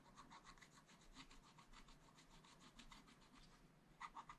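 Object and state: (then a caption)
Scratch art paper scratched with a wooden stylus. A wooden stylus scratches the fill of a biscuit and mug on a black coated scratch art paper page. It makes quiet, rapid back-and-forth scratching strokes with a dry, papery rasp centered around 1.2 kHz. A few louder, brighter strokes come near the end.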